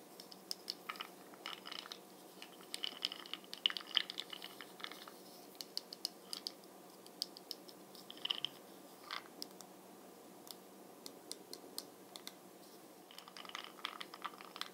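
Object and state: Plastic makeup jar.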